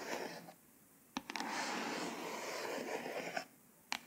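A few crisp, short ticks open and close a steady, bright scratching hiss lasting about two seconds, with nothing ringing on. Fingernails dragging over a firm, glossy embossed hardcover give this dry, papery rasp in a quiet, close room.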